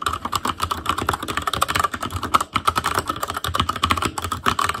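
A full-size ASUS ROG Claymore Core mechanical keyboard, with plastic keycaps on Cherry MX Red switches, a metal plate, a hollow case and RGB backlight, is typed on rapidly with the fingertips of both hands. It makes a dense stream of short, clacky key taps with a mid-range tone around 1.3 kHz and a little low thump from the hollow case.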